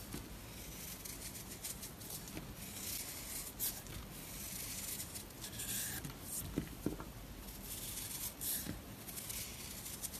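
A knife blade scrapes and cuts crumbly layers off a round, solid, chalky blue and pink marbled dry soap bar held in the hand. Quiet, steady dry scraping and bright rasping hiss run throughout, broken by a few short sharp crackling snaps as pieces break away.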